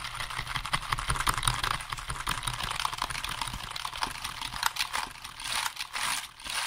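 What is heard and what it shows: Fingertips rapidly tap the keys of a black, hollow plastic computer keyboard held in front of and beside the microphone. The result is a dense, irregular stream of sharp, dry clicks with a bright, high clatter over a faint low rumble, with louder bursts scattered throughout and a brief dip in level near the end.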